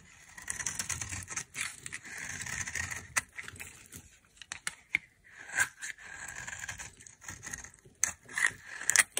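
A knife scrapes a hand-held, solid olive-green dry soap bar into brittle, crumbly chunks. Bursts of bright, dry scraping and crackling come in uneven strokes, with sharp snapping cracks as pieces break away and little low-end weight.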